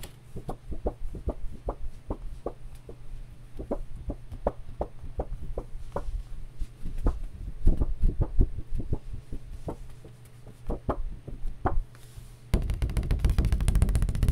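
A piece of cardboard is tapped with quick, dull, low thuds that die away almost at once, at an uneven pace over a steady low hum. Near the end the sound turns into a denser, louder rapid crackle that reaches up into the bright range.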